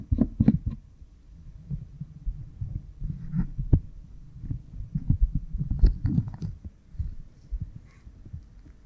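Fingernails rub and scratch behind the left ear of a pink silicone binaural ear microphone, a solid soft block with two ears coated in oil. The contact comes through as dense, muffled low thumps and rubbing with occasional brighter scratchy ticks, in an uneven, throbbing rhythm.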